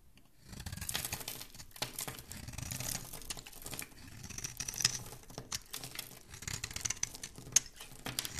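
A solid rectangular pink-and-white bar of soap with embossed lettering is held in one hand and scraped and carved with a dark metal blade, sending shavings and powder flying off. The scraping is dry, crumbly and bright, with continuous rasping broken by short sharp clicks and flakes breaking away.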